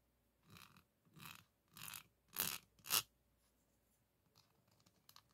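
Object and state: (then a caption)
Metal microphone mesh grille scraped. A wooden popsicle stick held in the fingers is scratched and rubbed across the hollow, large dome-shaped woven steel mesh grille of a condenser microphone. Five separate bright, raspy scrapes grow louder each time, with the fourth and fifth the strongest. Faint light ticks and rustles follow.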